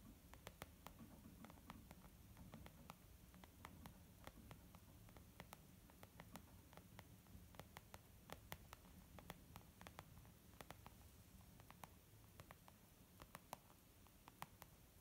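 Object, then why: Leather makeup bag. Slow, gentle tapping on a leather makeup bag: many soft, short, dry taps spaced irregularly over a steady low hum and faint hiss.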